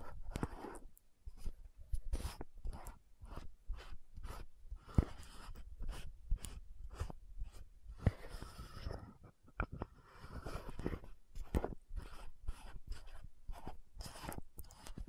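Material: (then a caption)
Plastic. Long nails tap and scratch the gold cap of an orange-red frosted plastic VC100 lotion bottle. The result is a quick run of short, dry clicks with raspy scratching strokes between them. The clicks carry a low thump and die away almost instantly.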